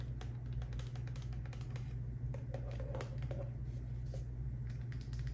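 A hand-sized, hollow, partly filled white plastic La Roche-Posay face moisturizer squeeze tube is held in the hand and tapped and scratched with long acrylic nails. The result is a rapid run of light, clicky taps and scratchy brushes over a steady low hum.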